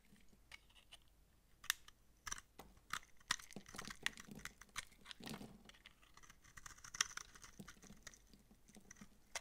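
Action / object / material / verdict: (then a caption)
scrape / soap bar / soap / none. A utility knife blade shaves the bumps off a dry, palm-sized, solid orange massage soap bar held in the hand and scrapes its surface into flakes. The result is a quiet series of crisp, dry crunches and short scrapes with a bright, high edge. Each cut stops almost instantly, with no ring.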